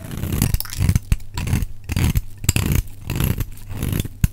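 A metal utility knife blade scrapes and shaves a solid, dry, rectangular cream-white bar of soap held in the hand. Repeated rough, low scraping strokes are punctuated by sharp, bright clicks as the blade catches and snaps free, with brief quiet gaps between passes.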